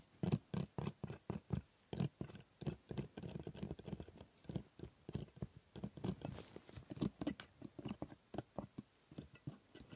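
A steel scaler scrapes the plastic teeth of a typodont dental model in rapid strokes. Dozens of short, dry scraping clicks follow in quick succession, quiet and mostly low and mid-toned, each ending almost instantly.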